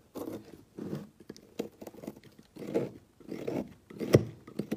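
A small metal knife blade shaves and scrapes curls off one edge of a solid rectangular brown bar of soap, held by hand on a woven mat, with a pile of shavings below. The result is a series of soft, dry, muffled scraping strokes, with short pauses between them and no ring.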